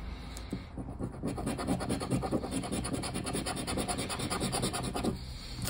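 A hand scratches the silver latex panel of a new, thin cardboard paper lottery scratch-off ticket lying flat on a wooden table, using the edge of a black plastic disc. Quick back-and-forth scraping strokes make a dry, steady rasping rub. The sound is fuller in the lows and starts and ends a little quieter.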